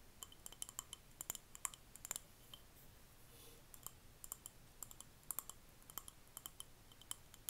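A small glass jar candle filled with solid red wax and wrapped in a paper label is held in both hands and turned around while long manicured fingernails tap and scratch its glass sides and bottom. Quick, bright, clicky nail taps with almost no ring come in irregular bursts, with soft scratching in between. The sound is quiet and close.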